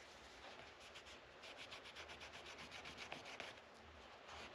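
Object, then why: Rosewood guitar fretboard rubbed with a microfiber cloth. Fingers rub and wipe a yellow microfiber cloth along the dark rosewood fretboard of a guitar neck resting on a padded rest. The result is a steady, soft, bright swishing hiss in quick, uneven back-and-forth strokes, with a couple of brief sharper ticks near the end.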